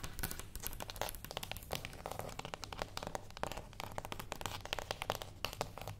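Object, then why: Small closed cardboard box. Long acrylic nails on both hands tap quickly on a small, flat, closed cardboard gift box resting on a wooden table. The result is a dense, rapid stream of short, crisp clicks with a crinkly, bright edge, each dying away almost instantly, over a steady low hum.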